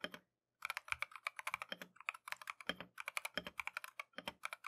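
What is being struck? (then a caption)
Mechanical keyboard with plastic keycaps. A compact Keychron V1 mechanical keyboard with Tangerine switches and green and white plastic Matcha keycaps, resting on a desk mat, is typed continuously with gloved fingertips. After a brief opening pause, a rapid stream of short, crisp, bright keystroke clacks follows, each dying out almost instantly, with light, soft thuds of keys bottoming out underneath.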